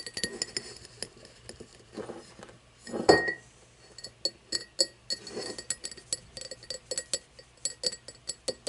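Long nails tap and scratch along the side and then the bottom of an empty, hollow cut-crystal tumbler, lying on its side and then turned to show its base. Bright glassy clinks come in quick, irregular runs with short rings, and a louder rasping scratch stands out near the three-second mark.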